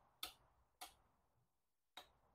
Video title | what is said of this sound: Replacing Your BMW's CCV/PCV: An Easy How-to Guide | сделаю это немного сильнее, чтобы попытаться освободить его, вот оно, посмотрите, как он залипает, он залипает